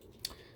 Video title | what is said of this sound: GE/Telechron - pt 9 - Preparing the rotor to be reoiled (Kitchen Clocks) | that clicking sound you're hearing is normal and that's what you should hear when you shake it in this direction